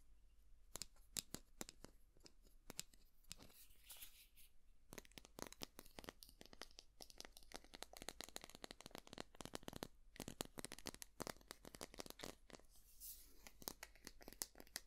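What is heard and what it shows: A small white plastic cosmetic squeeze tube with a printed label is held in both hands and scratched and tapped with long nails. Quick, crisp clicks and scratchy crinkling crackles come thick and fast throughout, bright and papery with very little ring after each touch.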